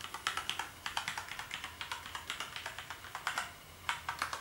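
Fingertips type on the keys of a black plastic gaming keyboard, making a fast, steady run of light, bright clicks. There is a brief pause just before the end, then a few final taps.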